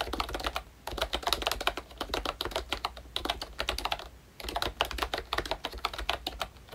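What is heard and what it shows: Fingertips type on a full-size ROYCHE Disney Mickey Mouse retro membrane keyboard with a hollow pink plastic case and round black plastic keycaps. Quick, bright plastic clicks and soft clatters come in steady bursts, with short pauses near the start and middle, and a faint low hum underneath.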